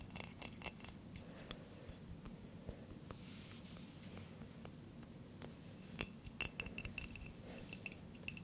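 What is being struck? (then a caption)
Glass jar with metal lid. A Nescafe Gold glass jar with a metal lid, filled with coffee and held near the microphone, is tapped and scratched with fingernails. Many quiet, sharp, bright clicks and ticks, pitched around 2.7 kHz, die away almost instantly over a low, steady background rumble. Fingernail scratching fills the gaps between taps, and a cluster of slightly louder taps comes near the end.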